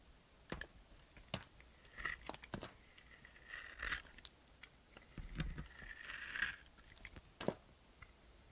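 A knife blade shaves thin slices off a small solid bar of white and pink soap held in a hand with long nails. Crisp, dry crunches and short scrapes come in irregular bursts, some drawn into brighter gritty shaving sounds with a faint tonal edge around 2 kHz.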